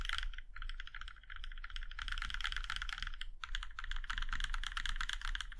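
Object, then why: Mechanical keyboard with aluminium case. A compact mechanical keyboard with a plum-red aluminum case and black keycaps has its keys pressed one at a time by fingertips. The result is a fast, steady stream of short, clacky taps with a bright, rattly top and a low hum underneath. There is a brief pause near the middle before the typing resumes.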